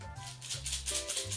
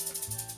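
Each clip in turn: First: plastic egg shaker filled with beads. Second: plastic egg shaker filled with rice.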